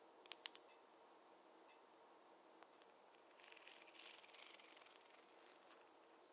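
A wooden or bamboo fine-tooth comb is tapped and used to part hair. A few sharp, bright clicks come early, then faint ticks. Past the midpoint, a soft, high rustling scratch builds and fades.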